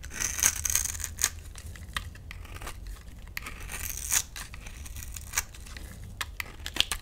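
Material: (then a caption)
Soap. A metal utility knife blade scrapes a solid, hand-sized pale mint green bar of soap held in the palm, cutting it into small cubes. Soft, dry scraping and tearing runs throughout, broken by sharp, bright crackling snaps as pieces break away. There is a low, steady rumble underneath.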